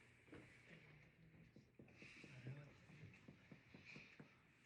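A finger taps the chest wall between the ribs over the air-filled lung during a pulmonary exam, with the arms raised. A series of short, low, hollow thuds is heard, each ringing briefly. This is the normal resonant percussion note over lung, as opposed to a dull thud over bone.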